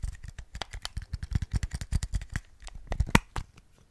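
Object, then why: Small hard-plastic earbuds charging case. A small, hollow white hard-plastic earbuds charging case is held in the fingers close to the microphone and handled with fingertips and nails, likely tapped and its lid clicked open and shut. A quick, irregular run of short, dry clicks and taps is heard, each with a soft low thump and a brief bright tick that dies away at once. One sharper, louder click stands out near the end.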